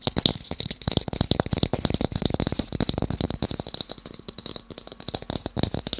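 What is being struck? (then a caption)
Wooden blocks. Fast tapping on wooden blocks gives a rapid, dense run of short, dry knocks that die away almost at once. The knocks vary in loudness and carry a bright clicky top over a low thump.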